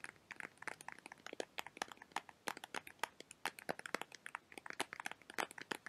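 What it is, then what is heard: Cardboard perfume box. A small, hollow, printed rectangular cardboard perfume box is held in the hands and tapped and scratched with fingertips and nails. About forty quick, dry, crisp taps and scratchy clicks come in a steady, irregular stream over six seconds. The taps are quiet and bright, with almost no low end and no ring after each one.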